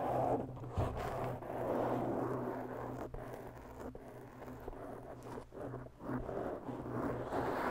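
Long natural bare fingernails of both hands slowly scratch a large round black foam windscreen, soft and porous over a hollow microphone capsule. The result is a continuous, close, muffled scratching rustle centered in the mids, with a steady low hum beneath and brief dips as the strokes change. No bright high end comes through.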